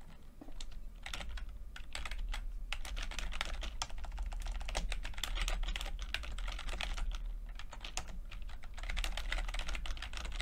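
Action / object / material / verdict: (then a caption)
tap / plastic computer keyboard / plastic / none. Fingertips of both hands type continuously on a full-size plastic computer keyboard with red and blue backlit, low-profile keycaps. Rapid, crisp, bright key taps and clicks run steadily throughout over a constant low hum.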